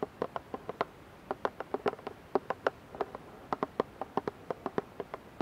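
Long nails tap and scratch the side of a clear plastic dish soap bottle with a green cap, partly filled and held above a pan. The result is a quiet, irregular series of short, dry plastic clicks with a hollow mid-range tone and almost no ring, separated by brief soft scratches.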